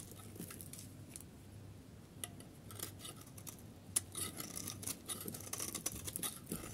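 A solid yellow bar of dry soap is held in the hand while a metal utility blade shaves its corner and cuts off chunks. Quiet, crisp scraping and crumbly cutting sounds are heard over a low background rumble, with brighter, sharper crunches toward the end.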